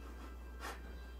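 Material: Nothing is struck.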